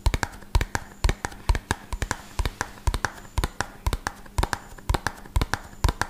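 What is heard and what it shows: A small, hollow, red-and-white printed cardboard medicine box is held in one hand and tapped fast with the fingertips and nails of the other hand close to the mic. The result is a quick, irregular run of short, dry taps with a deep hollow thump and a bright clicky edge from the nails, and no talking.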